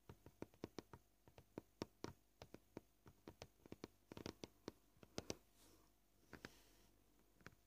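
Nail tips tap the surface of a solid white plastic cutting board in about two dozen short, dry clicks at an irregular, varying pace. Each tap dies away almost instantly, and a soft brushing sound is heard near the end between the taps.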